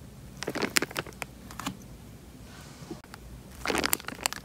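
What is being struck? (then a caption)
Tied plastic bag filled with water. A tied, clear plastic bag full of water is squeezed and crinkled in the hand, producing bright, sharp crackling bursts with little low end. A quiet stretch with a faint soft rustle sits between the crinkling in the first half and a second dense flurry near the end.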